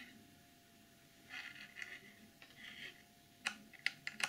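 Long nails tap and scrape the printed back of a clear plastic packaging box. Soft, bright scratching swells give way to sharp, crisp clicks with almost no ring, seven distinct hits in all, centred around 2 kHz, over a faint steady hum.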